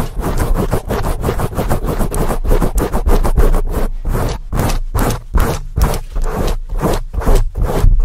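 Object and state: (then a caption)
Foam microphone windscreen scratched. Long acrylic nails and fingertips scratch and rub quickly and aggressively on a large black foam windscreen over a microphone. The result is a fast, rhythmic run of loud, rough scraping strokes, each one short and thick with heavy low-end rumble.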